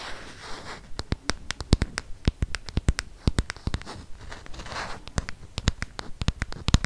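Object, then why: Plastic smartphone back. Fingernails scratch and tap on the plastic back of a handheld black smartphone, near its camera. Soft scratching fills the opening second, then a quick, irregular run of sharp, dry clicks rings out, with brief scratchy passages between them.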